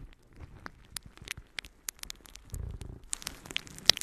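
A palm-sized, soft and light, yellow porous natural sea sponge is held in one hand and scratched and squeezed with long painted nails. The result is quiet, bright, crackly scratching with sharp high ticks and crinkling, plus a brief duller, fuller rustle midway as the sponge is squeezed.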